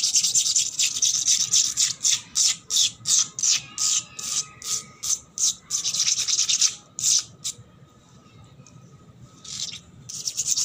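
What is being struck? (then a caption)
Painted concrete floor. Long black nails scratch fast across a wet, solid painted concrete floor in quick, uneven strokes of bright, hissy rasping. There is a faint steady tone underneath. The scratching stops for about two seconds near the end, then returns softly and builds back up.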